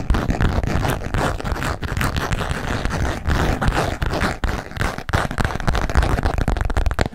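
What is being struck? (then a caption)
Coated canvas wallet. A small green and grey patterned MK coated canvas wallet, held in both hands, is tapped rapidly with fingertips and nails. This produces a dense, continuous stream of soft, dull taps with some scratchy texture. The sound is weighted heavily toward low frequencies.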